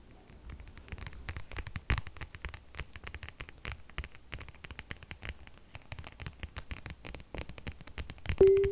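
A plastic or faux-leather wallet is tapped with quick, light, dry taps in a steady patter of many small clicks with a soft scratchy texture, mostly low-bodied with little brightness. Near the end a louder burst comes with a brief tonal hum around 390 Hz.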